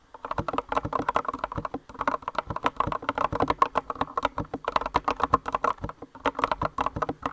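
Both hands with long nails type rapidly on a compact green mechanical keyboard with rounded white and green plastic keycaps. A dense run of short, sharp clacks centers around 1 kHz, with each tap dying away almost instantly. Brief pauses break the typing near two and six seconds.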